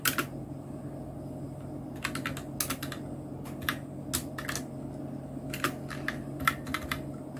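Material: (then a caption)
Plastic. Fingertips of both hands type on a full-size black plastic mechanical keyboard, a Nubwo Illusion NK-70 with Outemu red switches, round plastic typewriter-style keycaps and blue backlight. Irregular bursts of short, bright clacks sound over a steady low hum.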